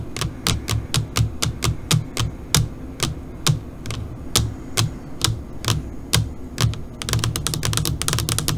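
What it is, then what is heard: Fingernail taps on an LCD monitor screen. Long pointed nails of both hands tap on a flat black LCD computer monitor screen, making short, sharp, bright clicks over a low background rumble. The taps come in an uneven rhythm for most of the clip, then speed up into a rapid flurry near the end.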